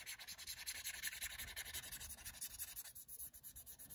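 Fingertips rub and scratch the textured back of a small, hollow, empty, grey translucent soft silicone phone case held in the hand. The result is a quick, fairly steady run of soft, bright, hissy strokes, about 38 of them across four seconds.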